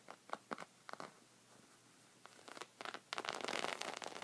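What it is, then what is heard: Woven fabric rug being scratched. Red-painted fingernails scratch along a folded white woven fabric rug resting on a wooden table. Short, dry, zipper-like rasps come in quick bursts, pause briefly, then build into a dense, continuous bright scratching toward the end.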